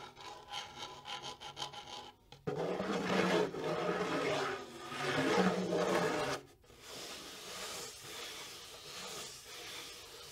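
Long nails scratch the wooden shell of a small, hollow wooden bongo drum in seven quick, separate rasps, then in a louder, continuous grinding scrape with a low hollow resonance. Fingertips then rub the hide head in a softer, steady, breathy swish.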